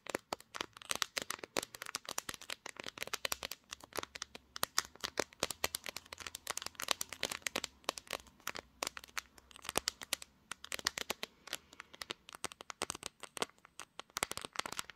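Long nails tap and scratch the glass back of a pink smartphone mounted on a tripod, working toward the camera module. Rapid, dense, bright clicks and short scratches follow one another with almost no ring, over a faint low hum.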